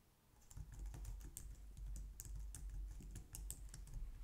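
Long painted nails and fingertips type on a low-profile white/light-grey plastic wireless keyboard resting on a glitter mat on a wooden desk. A steady run of quick, crisp keystroke taps with bright clicky edges sits over a low, dull thud. Faint music may play underneath.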